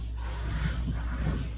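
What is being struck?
Nothing is struck.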